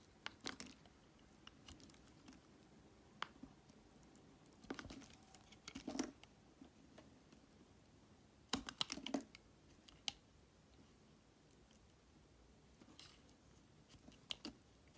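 A metal utility knife blade shaves thin strips off a solid translucent red glycerin soap block held in fingers with painted nails. Quiet, bright, crisp scraping clicks come in short bursts and scattered single ticks, each dying away almost instantly.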